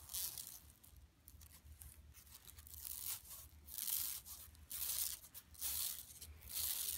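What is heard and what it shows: Both hands scratch with long nails across the printed surface of a large, flat, yellow woven plastic mesh shopping tote lying empty on carpet. Irregular bursts of bright, dry, rasping scratches swell and fade over a faint low hum.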